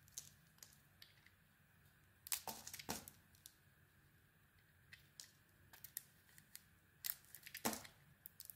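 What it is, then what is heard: Soap bar being carved. A solid soap bar with a white core and pink outer layer is held in the hand and shaved with a metal utility blade, scraping and carving it. Quiet, crisp, bright scrapes and short crackling cuts come in irregular strokes. Louder bursts of shaving stand out near the start of the third second and again near the end.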